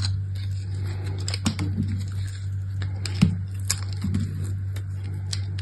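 A hand-sized chunk of dried bar soap, with a black outer layer and a pale blue-green crumbly inside, is held in one hand and scraped and cut with the metal blade of an orange utility knife. Short, crisp scratching and crunching cuts with bright edges sound over a steady low hum. One sharper crack stands out midway through.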